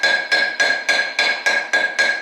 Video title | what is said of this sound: How to Pack Wheel Bearings | once you hear that sound, it means it's fully seated.